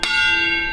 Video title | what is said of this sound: Mark Williams on the Rails - E05 - Carriage Kings | tapping the wheels and listening for a change of note that would tell you whether it was fractured or not